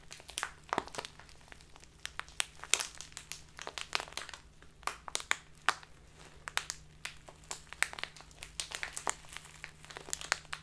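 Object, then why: Plastic tea bag with loose dried tea. A small, flexible clear plastic tea bag with a Biotta paper label, full of loose dried tea, is held upright in both hands and squeezed and crinkled with the fingertips, which have long black-painted nails. It makes a steady run of sharp, bright, dry crinkles and crackles that stop almost instantly, over a faint, constant low hum.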